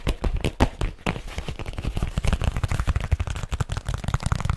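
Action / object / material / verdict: tap / leather folio case / leather / none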